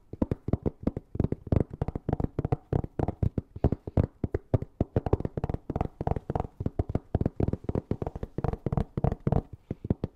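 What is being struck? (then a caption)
Fabric-covered hard-shell EVA zipper case. Fingernails rapidly tap and scratch a closed, hollow, black fabric-covered Ugreen hard-shell EVA zipper case held flat. Dozens of short, dull, low thuds ring out in quick irregular bursts. Each dies away almost instantly, with a faint papery scratch between them.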